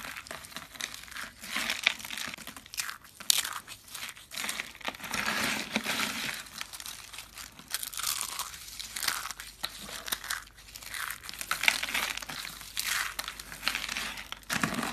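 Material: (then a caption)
Soap. Small, hollow, dark brown curls of dry soap are squeezed and crushed by hand, giving a steady stream of dry, bright crunching and crinkling with brief louder snaps throughout. The curls break down into crunchy flakes.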